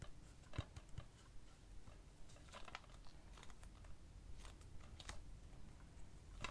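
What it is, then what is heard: Plastic DVD case. Fingertips tap and trace across the cover of a hollow plastic DVD keep case for the film "Funny Games" as it is held up and rotated to show the spine and back. Quiet, irregular clicks and soft scratchy brushing sit over a low, steady rumble, with a few sharper taps standing out.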